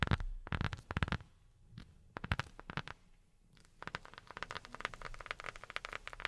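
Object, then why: Rubber sheet tapped with silicone pads. A rubber sheet is tapped with silicone rubber finger pads, giving short, dull, low thuds with a faint crackly edge. The taps come in quick bursts separated by brief pauses, then turn into a denser, steadier run of soft tapping toward the end.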